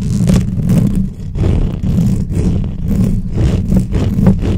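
Long painted nails on both hands scratch and tap the hollow metal mesh head of a black microphone. The result is a dense, boomy rumble of fast scratching with rhythmic swells of brighter, hissy scraping on top, sounding muffled and close.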